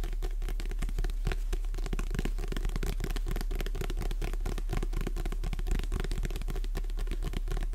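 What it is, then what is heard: Paperback book. Long red nails tap and scratch the glossy cover of a paperback book held sideways, making a steady stream of quick, dense clicks and scrapes. A constant low hum sits underneath the whole time.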